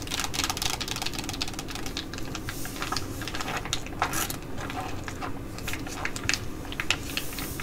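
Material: Laminated plastic.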